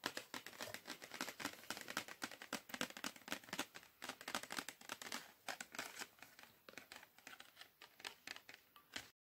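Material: Cardboard.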